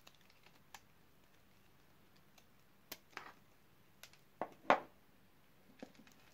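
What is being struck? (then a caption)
Bar of soap cut with a blade. A utility knife blade carves crunchy cubes off a solid dark red oval bar of dry soap that has been scored in a grid. Seven short, dry, crisp crunches and clicks stand out against a quiet background, each snapping off with almost no ring. The loudest, fullest crunch comes near the end.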